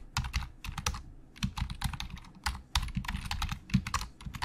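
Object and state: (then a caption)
Plastic computer keyboard being typed on. Fingertips of both hands type fast on a black plastic Logitech full-size keyboard with a hollow shell and membrane keys. A rapid, uneven stream of short key clacks carries a hollow, low thump, with bright clicky edges on each press.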